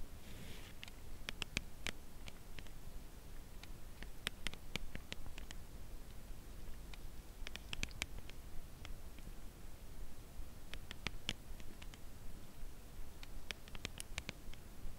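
Long acrylic nails gently tap a dark brown Lindt Creation Caramel cardboard box holding a chocolate bar, held horizontally. The result is soft, quick, dry clicks with a bright edge, arriving in slow, irregular clusters over a faint low hum.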